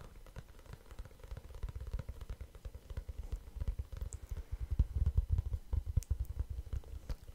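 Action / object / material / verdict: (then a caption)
tap / small kraft-paper cardboard notebook / cardboard / none. A small, flat, light and hollow kraft-paper or cardboard notebook tied with string is held close to the microphone and scratched and tapped with fingertips and nails. The result is a dense run of soft, low, dull thumps mixed with faint scratching. The taps grow louder and more forceful midway through.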